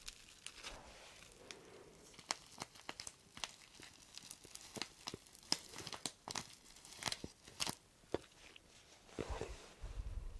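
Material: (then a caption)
Paper. A flat, thin, flexible brown printed paper packet or envelope is held in both hands in front of a microphone and crinkled and rubbed with the fingers. The result is a bright, crisp crinkling with dozens of sharp, quickly fading crackles over a soft papery rustle, and a brief low rumble near the end.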